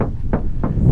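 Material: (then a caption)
Sheet metal. Knuckles knock on the door panel of a Toyota RAV4 Prime in a door knock test, giving a series of short, dull, low thuds. The door sounds hollow, less solid than a Tesla Model Y door.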